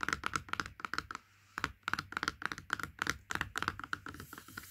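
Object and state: Cardboard juice carton.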